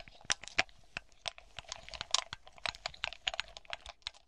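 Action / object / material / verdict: tap / cluster of small glass baubles / glass / none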